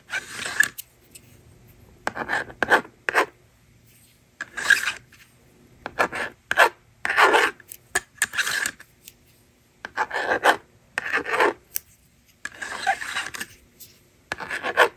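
A hand-held blue and pink plastic magnetic drawing board is written on with a yellow plastic stylus, and its plastic eraser slider is used. The result is a series of dry, raspy scratching and rubbing strokes in short bursts, mid-pitched and bright, separated by brief quiet gaps.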